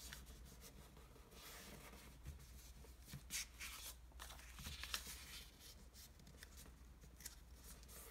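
Fingertips press and rub the folds of an already-folded pink origami sheet of Japanese traditional paper, then fold its corners. Quiet, bright rustling and crinkling comes in uneven bursts, with a few sharper crisp rubs. A steady low hum sits underneath.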